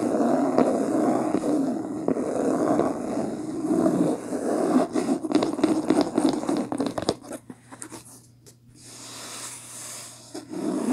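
Long nails scratch and fingertips rub the beige, linen-textured cloth cover of a medium, solid hardcover book lying closed on a table. A dense, continuous papery scraping fills the first seven seconds, then breaks into quicker, separate scratches. It ends in a softer, quieter rub before a final louder scratch.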